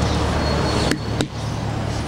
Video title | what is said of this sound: Karpuzun iyisi nasıl seçilir? | İyi karpuz sesinden anlaşılır, görüntüsünden. Biz böyle vururuz, sesinden anlaşılır